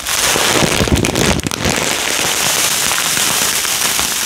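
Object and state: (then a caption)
Plastic bag of foam beads. A small clear plastic bag with a cardboard header label, full of small yellow polystyrene foam beads, is held in both hands and shaken close to the microphone. The beads rattle against each other and the bag in a dense, bright, crackling hiss, with rougher surges over the first second and a half before settling into a steady rustle.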